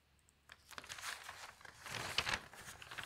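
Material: Paper.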